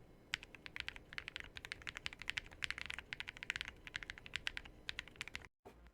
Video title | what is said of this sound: They sent me a BROKEN keyboard. (I tried to fix it) | I think the board has a very premium sound, but it's nothing to definitely write home about. It sounds muted, of course, because it's filled with foam.